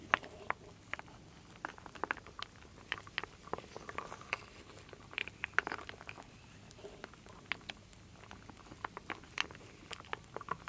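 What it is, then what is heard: Wooden beads and acorn pieces stirred in a wooden bowl. A wooden spoon scoops and stirs solid wooden beads and acorn pieces in a full wooden bowl. Many short, dry clicks and rattling knocks sound in quick irregular bursts over a quiet background. Each tap dies away almost instantly.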